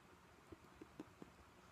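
Long painted nails tap four times on the front of a pink glossy vinyl/PVC Ted Baker tote bag with a bow, medium-sized, hollow and apparently empty, held up in the air. Each tap is a soft, short, muted knock with a low-mid body and almost no ring, over a quiet background hiss.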